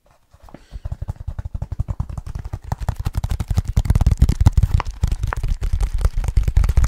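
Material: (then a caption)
Leather. Fingertips of both hands tap quickly on the leather surface of a small, soft-sided, hollow black leather bag. The result is a rapid stream of short, dull, low thuds with almost no ring, starting faint and growing louder over the first few seconds before holding steady.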